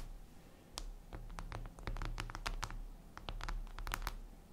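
Long acrylic nails scratch across a flat, solid, reflective glass mirror tabletop. The result is a quick series of short, crisp, bright scratches and ticks over a steady low hum.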